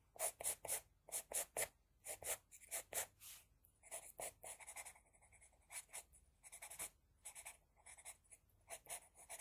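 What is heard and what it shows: An HB pencil scratches across a flat sheet of drawing paper in quick, repeated strokes, drawing hair. Each stroke is a short, dry, bright rasp with almost no low end, stopping instantly. The strokes come in an uneven, quiet stream, some in quick clusters and others drawn out with softer scratching between them.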